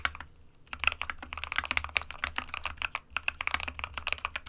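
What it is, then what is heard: Plastic mechanical keyboard. An SK61 small 60% mechanical keyboard with a white plastic case and plastic keycaps, resting on a printed desk mat, is typed on rapidly with the fingertips of both hands. Bright, short plastic key taps come in quick runs, with brief pauses near the start and about two-thirds of the way through.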